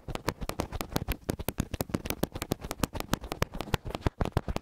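Fingertips of both hands pinch and rub two small, hollow, silver metal X/Y microphone capsules with grilles on a black mic body. The result is a rapid, dense run of short, dry scratches and soft thumps with a heavy low-end boom and brief bright crackle. Each sound stops almost instantly with no ring.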